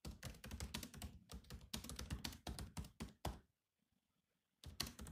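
Fingertips type on the black plastic keys of a grey laptop keyboard, producing rapid, clicky taps with a dull low thunk beneath each press. The typing runs in quick bursts for about three and a half seconds, stops for roughly a second of near silence, then resumes briefly at the end.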